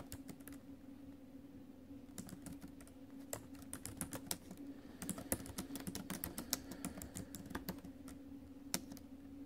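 Fingertips and nails tap the plastic keys of a silver metal-bodied laptop while typing, producing quick, sharp clicks with bright edges. Bursts of fast taps are separated by brief pauses over a steady low hum.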